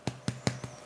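Fingers tap the base of a baked gluten-free bread roll four times, each tap giving a short, dull, hollow knock with a low body around 125 Hz and a quick decay. The hollow sound shows the roll is baked all the way through.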